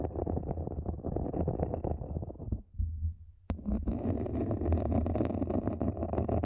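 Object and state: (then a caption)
Plastic mini planter, scratched. Long nails on both hands scratch the outer wall of a small, matte black, hollow plastic mini planter standing upright, making a dense, rapid scratching with a low, hollow rumble underneath. The scratching fades to a quiet lull, then a sharp click brings it back brighter and crisper until the end.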